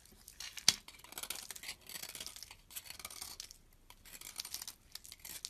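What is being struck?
Bar of soap.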